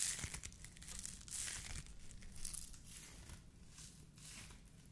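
A white polyethylene foam mesh fruit protection net, a hollow tube sleeve, is stretched, squeezed and rubbed with the fingers of both hands. It makes soft, bright crinkling and crackling rustles in uneven bursts with squeaky, tearing-like textures over a faint low rumble.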